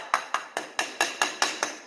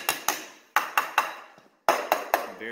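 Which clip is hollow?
The second.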